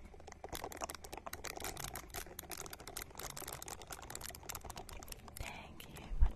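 Long nails scratch a small, hand-sized purple silicone ball held close to the microphone. The result is a quick, dense run of crisp scratching and ticking, with a steady low rumble underneath. Near the end comes a louder bump.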